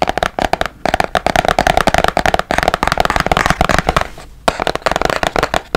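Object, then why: Small cardboard box. A small, hollow white-and-blue printed cardboard box, held next to the mic and partly hidden behind it at first, is tapped with fingertips and nails in a rapid run of close, dry taps. Each tap has a hollow, papery knock centered around 730 Hz with a crisp, bright click on top and almost no ring. The tapping fades briefly just past four seconds, then resumes quickly.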